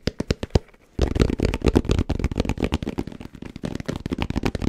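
Fingertips tap fast and aggressively on a black, round, fabric-covered hard-shell headphone case. A few separate sharp taps give way, after a brief lull, to a dense, rapid stream of dull, low, thumping knocks with short bright clicks on top. Each tap dies away almost instantly.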